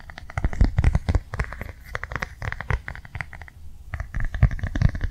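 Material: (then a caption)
Plastic. A flat, blue, rectangular plastic cardholder is held in both hands while fingernails tap quickly across its face and edges. The result is a steady stream of rapid, crisp clicks, each with a dull, low thump beneath it and almost no ring, in short bursts separated by brief pauses.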